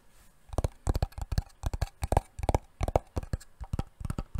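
A wooden box is tapped repeatedly with quick, uneven taps, often in close pairs. Each tap is a short, dull, low knock that dies away almost at once, with some carrying a hollow mid-range tone.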